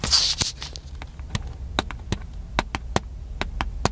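Fingertips tap the body of a small black handheld plastic camcorder held near the face, giving a string of short, dry, bright clicks with almost no ring. The taps come at an uneven pace over a low, steady background hum, with a brief burst of brighter rustling at the start.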